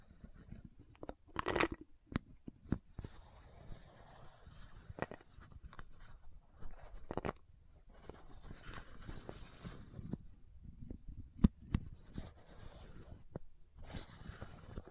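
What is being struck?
Plastic bottle cap.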